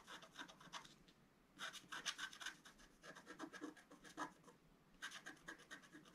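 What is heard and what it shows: A wooden stylus scratches and rubs the coating of a flat, black-coated scratch-art card, about A4 size, lying on a table. Short bursts of dry, bright scraping come in quick strokes, separated by brief quieter pauses.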